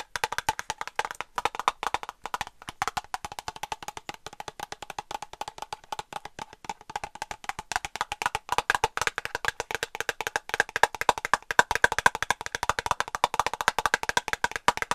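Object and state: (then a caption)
Plastic cosmetic squeeze tube. A small, hollow, partly filled white plastic cosmetic cream tube, held in one hand, is rapidly tapped and scratched with long acrylic nails. The result is a dense stream of dry, hollow clicks with a woody, midrange tone, almost no low end and no ring. The taps grow louder and brighter toward the end.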